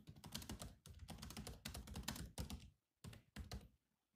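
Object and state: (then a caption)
Laptop keyboard with plastic keys. Bare fingertips of both hands type fast on a grey laptop keyboard with black plastic chiclet keys in a metal-look shell. The result is dense bursts of quick, clicky taps with a soft low thunk beneath, broken by brief pauses before two final short runs.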